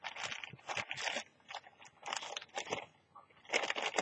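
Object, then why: Thin plastic carrier bag. A thin, empty orange plastic carrier bag with a Brainwash print lies flat on a white surface while fingertips with long teal nails fold and crinkle it. Bright, crackly crinkling comes in uneven bursts separated by brief quiet pauses, with almost no low end.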